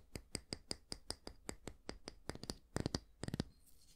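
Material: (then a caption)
Wood, bristle. Fingertips and nails scratch the dense natural bristles of a small oval wooden hair brush, making short, crisp, bright strokes at a steady pace. Toward the end the strokes come in quicker bunched clusters, then trail off into a faint, soft rustle.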